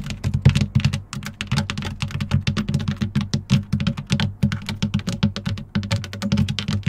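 Long nails on both hands rapidly tap and scratch a long, fairly rigid black textured plastic side step on a Jeep, which has a hexagon-patterned tread. Dense, quick clicks and hollow low thuds run together in an uneven, continuous patter. Each tap stops short with a bright tick on top.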